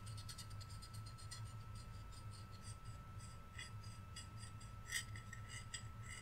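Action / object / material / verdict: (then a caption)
scrape / flat painted wooden cutout / wood / none. A flat, solid, painted wooden Rudolph reindeer cutout has its wooden antlers scratched and rubbed with fingertips and nails. Quiet, dry scratching comes in short bright bursts over a steady low hum, with one sharper scrape near the end.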